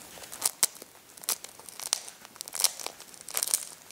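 Thumbs press and rub a hard-boiled egg with a finely cracked brown shell, crunching the shell fragments against the egg. Quick, dry, bright crackles and crinkles come in irregular bursts with almost no low end. Each snap dies away almost instantly.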